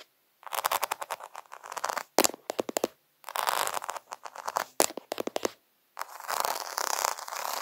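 Fingertips and nails scratch and tap fast across a flat sheet of rainbow-coloured acrylic rhinestones on fabric, and a hand briefly blurs the lens. Dense, bright, crackly clicking comes in several bursts separated by short silences, with sharp taps standing out near the middle. The sound has no low end.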